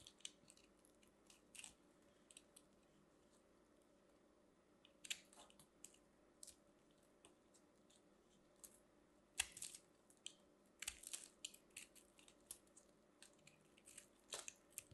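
A metal craft knife carves and scrapes a small, solid, crumbly orange and white ball of compressed soap shavings held in the hand, cutting off crunchy flakes. The sound is quiet: sharp, bright crunches and scrapes, sometimes clustered and sometimes spaced apart, over a faint steady hum.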